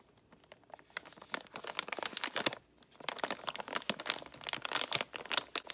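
A full, silver foil-lined metallized plastic bag of Guittard milk chocolate baking chips is held in both hands by fingertips with painted nails, then crinkled and handled over a mixing bowl. Bright, crackly crinkling comes in quick bursts, with a brief quiet pause partway through before the crinkling resumes.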